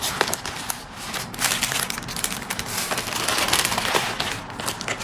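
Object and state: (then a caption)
Foil bubble mailer being pressed and rubbed. A large pink metallic foil padded mailer with a bubble-wrap lining, apparently holding a packed order, lies on a white desk while flat palms and fingertips press down and rub across it to seal and smooth it. Dense, bright crinkling and crackling runs throughout with many quick snaps and little low end.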